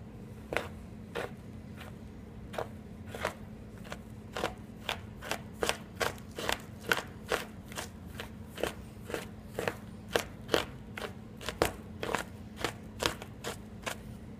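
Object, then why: Chalk chunks under a knife blade. A steel kitchen knife blade chops and crushes a pile of solid green and pink chalk chunks into finer pieces on a white surface. Sharp, dry chops and crunches repeat at an uneven pace over a low steady hum, each hit short with a bright, crackly edge.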